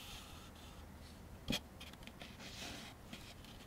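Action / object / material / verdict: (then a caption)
tap / molded-fiber paper plate / molded fiber / none. A thin, empty, white molded-fiber (Chinet-style) paper plate, about 25 cm across, rests on a wooden table and is held with both hands while fingertips and short nails tap and scratch it. Quiet, dry, bright scratching rustles run throughout, with one sharper, louder tap near the middle and a few faint taps after it that fade almost instantly.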